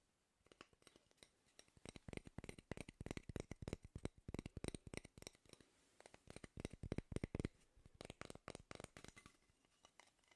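A single light, solid wooden cooking spoon is held up in both hands while fingertips and nails scratch and rub along its bowl and handle. Dense bursts of quick, dry scratching and tapping clicks come in uneven clusters, with short gaps between them. The clicks are quiet, crisp, and end almost instantly.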